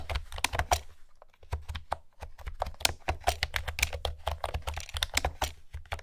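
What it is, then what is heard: Plastic keyboard with round keycaps. Long manicured nails and fingertips type on a blue plastic retro-style keyboard with round pastel keycaps. The keys make rapid, uneven clacking taps, each a short bright click over a low thump, with brief pauses between bursts.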